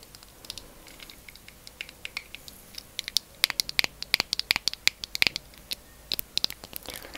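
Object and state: Plastic cosmetic cream jar.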